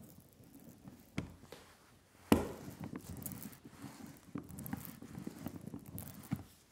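Thick black relief printing ink spread on a flat glass slab is rolled back and forth by hand with a rubber brayer. The sticky ink gives a soft, tacky crackling roll centered in the low mids, with a few sharper sticky snaps, the loudest about a third of the way in.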